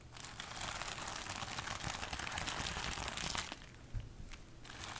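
A large sheet of clear plastic bubble wrap, held up in front of the body, is scratched and tapped with super long acrylic nails, giving a dense, bright, continuous crinkling for about three and a half seconds. The sound then drops to a quieter, sparser rustle broken by a few sharp, isolated taps.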